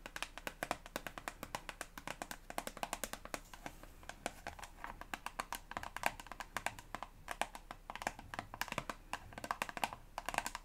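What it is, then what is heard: Plastic toothpaste tube. A hand-sized, hollow Elmex toothpaste tube of soft plastic, held in both hands, is tapped with long blue-painted fingernails. The result is a rapid, uneven run of dozens of light, crisp clicks with a bright edge and a hollow tone around 800 Hz. Each click dies away almost at once.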